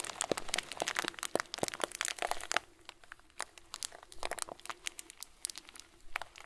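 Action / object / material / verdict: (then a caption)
shake / plastic bag filled with small plastic beads / plastic / none. A hand-sized clear plastic bag full of small white plastic pearls is squeezed with the fingertips and the whole hand. Dense, bright crinkling and crunching with sharp clicks fills the first two and a half seconds, then thins to softer, sparser crinkles with occasional louder snaps.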